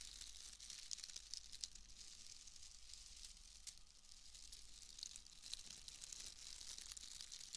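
A bundle of pale wood wool shreds is crushed and rubbed between the hands and fingers. It makes a quiet, steady, bright crackling and rustling with dense tiny snaps, over a faint low hum.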